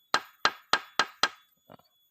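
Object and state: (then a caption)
Mature bamboo culm. A mature bamboo culm, old enough for cutting, is struck five times with sharp, bright knocks centered around 1.3 kHz that decay quickly. The tone of an old culm differs from that of young bamboo. A faint, softer tap follows the last strike.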